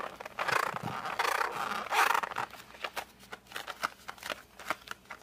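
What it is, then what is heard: Cardboard pencil box being squeezed. A flat cardboard colored pencil box is held in both hands, gripped and squeezed with fingers and thumbs, and rotated. Dense crinkling, squeaky scraping bursts come first, then give way to quieter, separate short creaks and taps with a bright edge.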